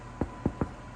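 Three quick, hollow knocks on the bottom of a hot sourdough loaf just taken out of a Dutch oven. Each dull, low thump dies away almost at once. The hollow sound shows the bread is baked through.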